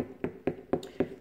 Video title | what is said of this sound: watermelon rant about health and wellness | to pick a watermelon you have to knock on it and it needs to sound hollow